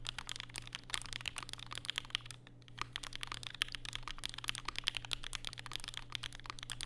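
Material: Plastic.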